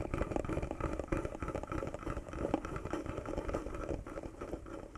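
Fingertips and nails tap and scratch a small, hollow carved wooden box with a silver metal emblem, working over both the wood and the emblem. The result is a steady, dense stream of soft, dry taps and scrapes with a hollow, woody mid-range tone. Each tap dies away almost instantly.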